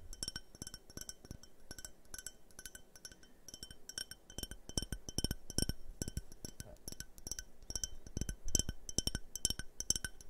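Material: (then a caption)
Glass. A hand-sized, empty multicolored glass tumbler with a yellow, purple and red tint is held in the hands and tapped with fingernails close to the microphones. Quick, irregular taps produce short, sharp clinks with bright glassy overtones and a soft low thump under each one, with no lingering ring.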